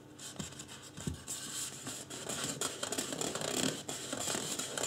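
Fingertips scratch the top of a life-size white polystyrene foam mannequin head, seen face-on. Dry, bright, irregular scratching and rubbing fills the clip, growing slightly louder toward the end.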